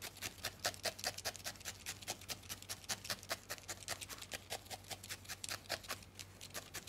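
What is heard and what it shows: A thin steel felting needle is repeatedly stabbed into a small, solid ball of grey-white felted wool held between the fingertips, up close. About forty quick, crisp pokes land at an uneven, steady pace, each a short, bright scratchy crunch. A faint low hum runs underneath throughout.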